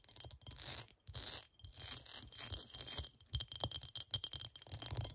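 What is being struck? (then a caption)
Cut glass bowl. Long nails scratch quickly over the cut pattern of a clear, textured cut-glass bowl that sits upright, hollow and empty. The result is a bright, dry, rattling scrape that comes in rapid bursts with brief gaps, plus a faint low thump underneath.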